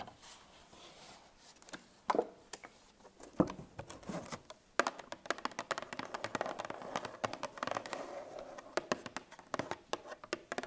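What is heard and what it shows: A full 1 L coated paperboard milk carton is handled with soft crinkling and scraping, then laid on its side and tapped with long nails. The taps come as quick, dry clicks and light pattering runs with almost no ring, over a quiet, muffled hollow tone in the low mids.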